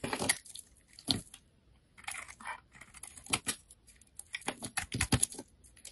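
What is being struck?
Bar of soap.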